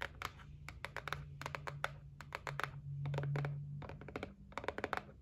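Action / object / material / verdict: tap / cardboard gift box / cardboard / none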